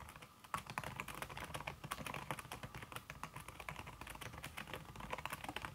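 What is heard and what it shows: Fast fingertip typing, including red-painted nails, on a slim backlit aluminum keyboard whose keys are covered by a red silicone skin. It makes a dense, rapid stream of short, soft, damped clicks with little ring. After a brief quiet start, the typing runs steadily to the end.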